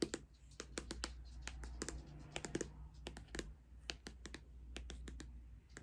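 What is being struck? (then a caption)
Cardboard-covered makeup palette. Long acrylic nails tap and scratch a flat, hand-sized, closed pink Too Faced Pretty Rich eyeshadow palette covered in cardboard. About two dozen quick, dry clicks ring out with almost no ring, while a soft scratchy rustle fills the gaps over a low, steady hum.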